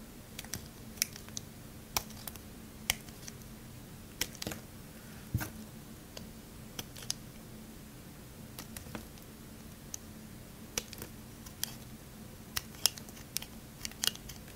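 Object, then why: Bar of soap cut with a craft knife. A metal craft knife blade slices and scrapes across the surface of a solid pale green bar of soap held in the hand. Short, sharp, bright cuts and crisp ticks land at irregular intervals over a faint, steady low hum, each cutting off almost instantly.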